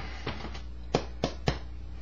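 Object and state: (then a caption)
Baked-through bread loaf, hollow bottom. Five soft, hollow, low thuds as the bottom of a baked bread loaf is tapped. The short, dull knocks fade quickly, and the loaf sounds hollow, showing it is baked through.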